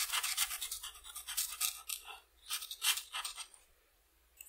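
A red felt-tip marker is rubbed back and forth across a flat sheet of white paper printed with a butterfly outline, lying on a table, filling in a wing. It makes quick, bright, hissy scratching strokes in uneven bursts, with a pause near the middle. Near the end the strokes fade to quiet before a faint final scratch.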